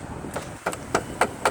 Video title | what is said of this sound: Dad's Download #22 | If it sounds plastic, it's not good.